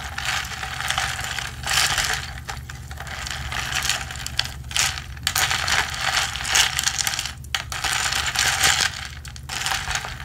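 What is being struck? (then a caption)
Plastic tumbler with ridged plastic straw. A ridged blue plastic straw is held by the fingertips and pumped up and down through the lid hole of a hollow, medium blue plastic tumbler with a textured double wall. The motion makes a continuous bright rubbing, ratcheting clatter of many quick ticks that swells and fades in bursts, over a faint low hum.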